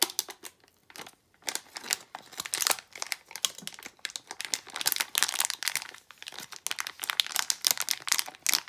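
A small plastic foil blind bag from the Disney d-Licious Desert figures line, not empty, is crinkled and squeezed with both hands and long nails. Dense, bright crackling bursts come in quick irregular waves with brief quiet gaps, almost no low end and no ring after each crinkle.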